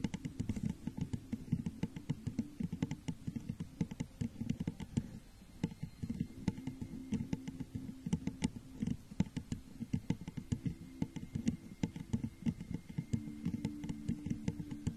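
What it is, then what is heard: Empty textured glass jar. Long fingernails tap and scratch the sides of a clear, crackle-textured glass jar, hollow and empty, set over a microphone. A dense, steady stream of quick, dry clicks and soft scraping sits mostly in the low range, with a faint tonal hum near 190 Hz. The taps are short and muffled, with almost no ring or bright top end.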